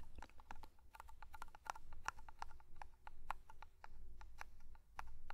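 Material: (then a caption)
Metal. Fingertips tap quickly on the lid and side of a small black metal pomade (hair cream) tin held close to the microphone. It makes a rapid, irregular run of short, dry metallic clicks with a tinny ring around 860 Hz that dies away almost at once, over a soft low rumble.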